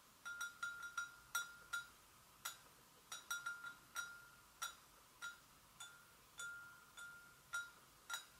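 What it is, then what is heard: Porcelain gravy boat. An empty, hollow white porcelain gravy boat is gently tapped on its sides with long nails, giving 18 quiet, separate clinks. Each tap has a short, bright ring pitched around 1.4 kHz, with high overtones and no low rumble.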